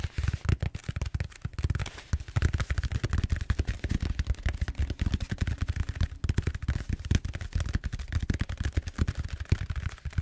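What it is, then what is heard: Styrofoam foam roller. Fingertips tap and scratch rapidly on the surface of a large purple bead-foam styrofoam roller held upright. The result is a dense, continuous stream of short, dull, low thumps with crisp scratchy edges, each dying away almost instantly.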